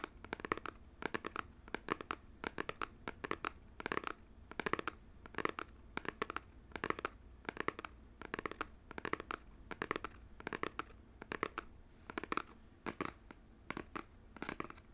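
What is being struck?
Small printed cardboard box.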